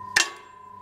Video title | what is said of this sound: Marion découvre les cloches Episode 2 / REBLOCHON #Passion | Ça sonne mais c'est pas encore ce que tu veux